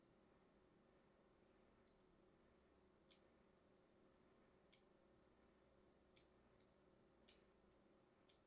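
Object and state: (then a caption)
Bar soap being scored with a blade. A thin metal blade scores diagonal lines into a solid, hand-sized, light green bar of soap held in the hand. Five faint, sharp, crisp scraping clicks stand out over a steady, quiet background hiss, with a few fainter ticks between them.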